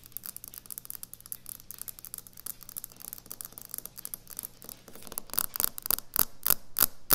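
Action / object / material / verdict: tap / quartz stone countertop / quartz / none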